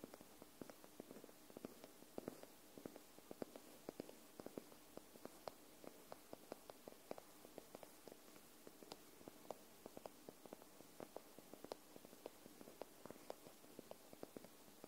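Long nails tap and scratch along the top paper edge of a white paperback book held upright, which sounds solid. About 26 soft, dry, quick taps are heard over steady faint scratching, with a low-mid dull tone and very little ring. The overall level is quiet.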